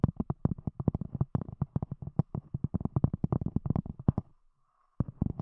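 Long acrylic nails rapidly tap and scratch the top of a round, solid, thick cork disc set over binaural microphones. A quick string of dull, low, muffled knocks with almost no ring runs for about four seconds, stops briefly, then resumes near the end.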